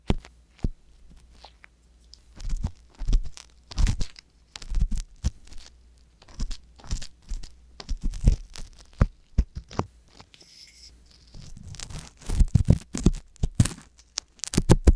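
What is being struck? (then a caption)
Silicone ear of a binaural microphone. Fingers with long yellow nails work a wooden ear pick with a thin metal tip inside the ear canal of a soft silicone ear on a white box-shaped binaural microphone, scratching and scraping it. Close, bassy crunching and rustling scrapes come in irregular dry bursts with quiet gaps, growing denser toward the end.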